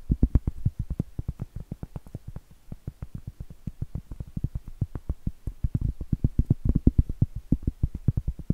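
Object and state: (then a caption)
Cork trivet. Acrylic nails tap and scratch the face of a round, solid cork trivet held up close. The result is a rapid, uneven run of dull, low, woody taps with almost no ring, and faint scratchy texture between them.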